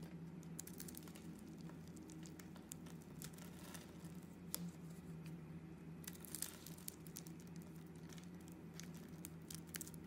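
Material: Soap.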